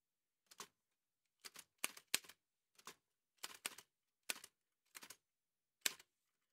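Gloved fingertips in white satin gloves press the keys of a large, heavy old Remington manual typewriter with a dark painted metal body and paper loaded. Quiet, sharp, bright mechanical key strikes come in irregular clusters with brief pauses between them. Each strike is dry and dies away almost instantly, with no low-end thump.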